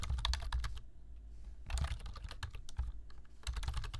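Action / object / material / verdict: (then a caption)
tap / plastic computer keyboard / plastic / none. Fingertips type on a black plastic computer keyboard, tapping the keys in quick bursts of bright clicks separated by short pauses. A low, steady rumble sits under the clicking.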